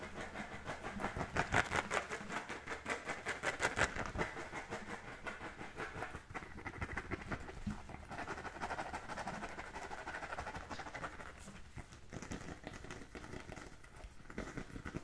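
Fingernails scratch over the textured surface of an inflated, hollow, brown pebbled composite-leather football held in both hands. A dry, rasping scratch repeats in quick, uneven strokes, about 162 per minute. It is strongest in the middle and upper-middle range and carries a faint hollow resonance from the ball.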